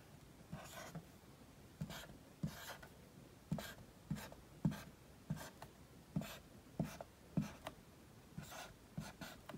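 A felt-tip dry-erase marker held in the fingers writes the letters A through H on a large flat whiteboard with a melamine or painted surface. Thirteen short, irregular strokes rub and scratch across the board, each starting with a soft low tap followed by a bright, airy squeak. Quiet gaps separate the letters.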